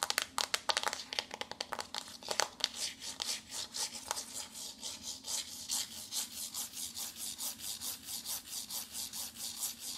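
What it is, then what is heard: Cardboard eyeshadow palette. Long nails tap and scratch the embossed front cover of a flat, glossy pink, hand-sized paperboard eyeshadow palette held in both hands. Quick, sharp, crisp taps come first, then settle into a steady rhythm of bright, hissing scratch strokes across the cardboard.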